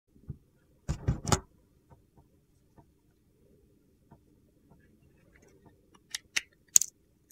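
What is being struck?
Bar of soap.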